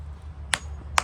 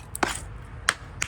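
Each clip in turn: First: Two sharp, bright hammer raps on concrete stop almost instantly, the tight sound of solid, well-bonded concrete. Second: Three sharp, clacky hammer-and-chisel strikes on a concrete stair patch that has come loose and sounds hollow.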